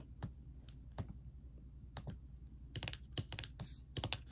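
Both hands with long nails and ringed fingers type with nails and fingertips on a plastic-keyed laptop keyboard set in a silver laptop body. Eleven quick, bright key clicks sound at an uneven pace, each stopping almost at once, over a steady low hum.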